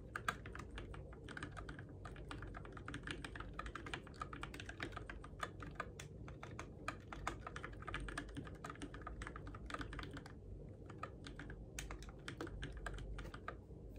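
Fingertips type steadily on a Keychron K6 compact RGB-backlit mechanical keyboard with plastic keycaps on switches, in the dark. The keys give a fast, continuous stream of short, crisp clacks and taps that die away almost instantly, over a steady low background rumble.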